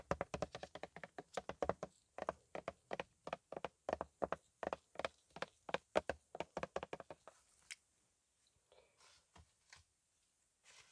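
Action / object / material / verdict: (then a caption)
tap / plastic car polish bottle / plastic / none. Fingertips in green nitrile gloves tap a black plastic car polish bottle with a colorful label, about 25 cm tall and apparently full, held in one hand. A quick, steady run of short, dull, hollow plastic taps with a mid-range knock fills the first seven seconds. A few faint soft scrapes follow in near silence.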